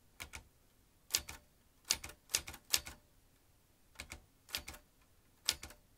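Fingertips of both hands type on the round keys of a vintage metal manual typewriter. Sixteen sharp, bright clacks come in quick pairs with short pauses between them. Each one stops almost at once over a quiet background.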